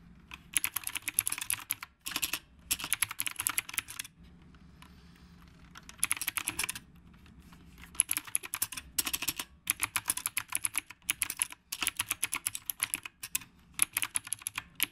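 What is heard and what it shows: Fingertips type quickly on the round plastic keycaps of a retro typewriter-style mechanical keyboard. Dense bursts of sharp, bright clicks come in runs of about two seconds, separated by short quiet gaps with a faint low hum.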